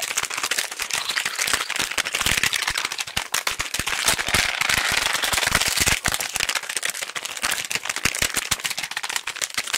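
A small, flat, hollow pink printed cardboard box is held in both hands close to the microphones and tapped very rapidly with fingertips and nails. The result is a dense, continuous stream of dry, crackling clicks that are bright and thin, with almost no low end and no ring after each tap. The tapping runs steadily for about ten seconds, easing slightly around the six-second mark.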